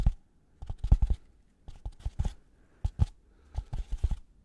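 A white polystyrene foam packaging block with two oval recesses is held close and scratched and rubbed with gloved fingers. Clustered bursts of short, dry, squeaky scrapes and soft thuds come in quick runs separated by brief silences. The sound is mostly low and muffled, with faint bright crackle on the sharper strokes.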